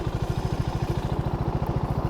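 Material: Nothing is struck.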